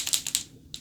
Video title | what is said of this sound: AMAZING AMAZON PRIME DAY DEALS ! | You hear that click? That's also because it's an acrylic marker. That's that ball inside that's shaking mixing the paint up.